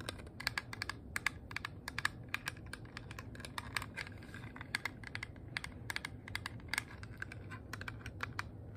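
Long nails tap and scratch a small, flat, hollow rose-gold metal compact shaped like a handbag, with a twisted handle and a heart clasp. Quick, sharp, bright clicks come in uneven bursts with almost no ring, over a steady low background hum.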